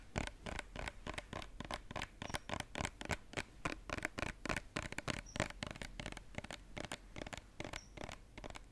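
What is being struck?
Plastic cosmetic bottle.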